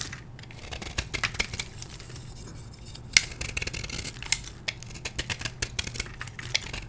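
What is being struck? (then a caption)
Gym chalk block scraped with a metal blade. A solid blue-dyed gym chalk block, held in the hand, is scraped with a metal blade, making a steady run of dry, bright, crumbly scraping strokes. Sharp crackles and clicks stand out over a faint low hum as crumbly chunks break off and fall.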